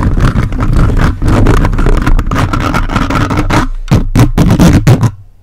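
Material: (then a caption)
Metal mesh. The plastic fingers of a toy robot grabber hand, held on the grille throughout, aggressively scratch a large hollow metal mesh microphone head on a red body. The result is a dense, rough, low-heavy scraping and rumbling that runs almost continuously. Toward the end it breaks into choppier separate bursts before cutting off.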